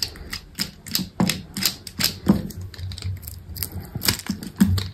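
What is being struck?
Bar of soap cut with a small knife.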